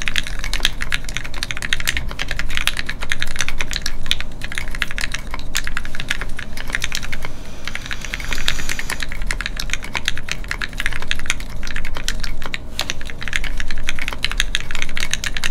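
A Keycult No2 Rev1 mechanical keyboard with Gateron Ink switches and red plastic keycaps, resting on a desk mat, is typed on steadily with the fingertips of both hands. A continuous stream of short, crisp, bright clacks dies away almost instantly, with a brief lull near the middle, over a steady low rumble.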